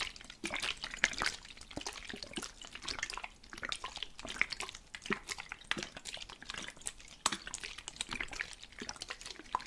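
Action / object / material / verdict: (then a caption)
shake / plastic spray bottle with water / plastic / none. A plastic spray bottle filled with water is shaken continuously, producing rapid, bright sloshing and splashing sounds throughout. The liquid's movement is audible, showing the bottle holds water.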